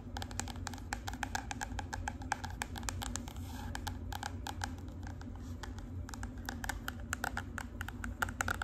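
Long pink acrylic nails tap rapidly with several fingers on the flat, rigid cover of a marbled hard cardboard composition notebook. The result is a quick, uneven stream of short, dry, bright clicks that die away at once, over a steady low hum.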